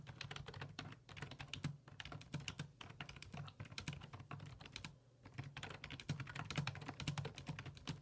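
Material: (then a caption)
Plastic. Fingertips type steadily on the hollow plastic keys of a black full-size plastic computer keyboard resting on a wooden desk. The keystrokes are rapid, bright clicking taps over a low, steady hum, with a brief pause near the middle before the typing picks up again.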